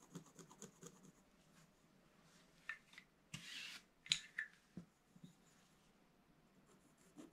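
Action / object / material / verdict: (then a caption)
scrape / black-coated scratch-art paper scratched with a wooden stylus / coated paper / none. A pointed wooden stylus held upright scratches a black-coated scratch-art paper page in a bound book. A series of quiet, bright, dry scratches is heard, with several short strokes and a longer rasping scrape in the middle.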